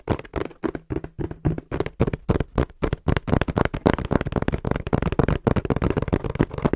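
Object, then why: Corrugated cardboard box. A small, hollow brown corrugated cardboard box is held in both hands in front of a microphone and tapped quickly with the fingertips. The taps are short, dull and hollow with little ring, starting as distinct knocks and quickening into a dense, uneven patter in the second half.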